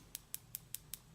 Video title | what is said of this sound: Kiss Acrylic Nail Kit Demo Tutorial .😁😘😜💅💅💅💋😜😁 | Once they're nice and dry, it'll be a louder tapping noise